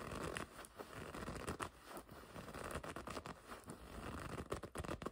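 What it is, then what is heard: Leather jacket scratched. Long red nails scratch and pinch the front of a black and red leather racing jacket. What's heard is a quick run of dry scratching, creaking and crinkling sounds, with short sharp taps rising out of a steady rustle.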